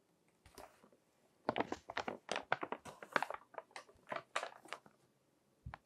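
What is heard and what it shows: Fingertips turn the pages of a thick, crinkled glossy paper magazine resting on a table and rub the paper. A soft crinkle is followed by a dense run of sharp, crackling rustles, then a brief pause and one last crinkle. The sound is crisp and mid-to-high pitched, with very little low end and almost no lingering ring.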